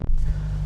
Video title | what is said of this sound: The 2025 Dodge Durango SRT Hellcat Is An Obnoxious SUV With Charming Muscle Car Vibes | the door doesn't have quite the same solid sounding thunk